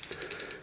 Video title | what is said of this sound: #232 4R70W transmission rebuild part 2 | if you shake it you can hear that piston that check ball moves